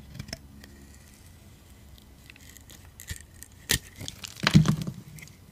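A metal utility blade scrapes chunky, crunchy slices off a solid yellow-orange dry soap bar held in the hand. Faint clicks and scratches give way to sharp, bright crunching scrapes, ending in the loudest crackling crunch near the end.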